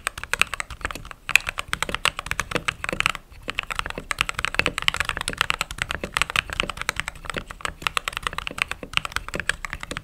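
Fingertips type steadily on a mechanical keyboard with white/cream plastic keycaps and RGB underglow. It produces a dense stream of short, bright, clicky keystrokes that stop dead with almost no ring, with brief pauses near one second and just past three seconds.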